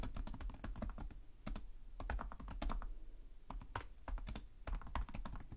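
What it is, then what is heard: Plastic laptop keyboard being typed on. Both hands type steadily with their fingertips on the plastic chiclet keys of a black laptop keyboard. A quick run of short, dry clicks and soft thuds sits mostly in the low end, with faint bright ticks on top. Each keystroke stops almost at once with no ring.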